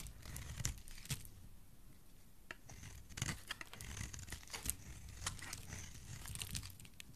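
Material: Soap.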